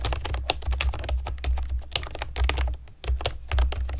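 Long nails and fingertips type steadily on a pastel plastic keyboard with round keycaps. It makes a rapid run of bright, short clicky taps over a steady low hum, with a brief lull just before the three-second mark.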